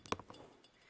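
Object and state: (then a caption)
Glass mason jar. A glass mason jar made into a homemade snow-globe decoration, filled with fluffy fake snow and a small tree and with snow sprayed on the glass, is handled and gives three short glassy clinks. The first clink is the loudest, and the bright ringing tone, around 1 kHz, fades within a fraction of a second.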